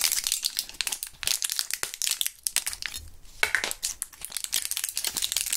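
A partly emptied clear plastic and foil gum blister pack holding purple gum pieces is squeezed and crushed between gloved fingers. Dense, bright crackling and crinkling snaps follow one another rapidly with almost no low end, each one dying away almost instantly.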